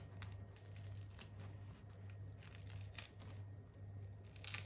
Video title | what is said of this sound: 🥖 RÉDUIRE son BUDGET avec du fait MAISON 🥖 BAGUETTES // COOKEO // PANCAKES 🥞 | pour vous faire entendre qu'elles sont bien cuites ça sonne bien creux et le petit côté croquant de la baguette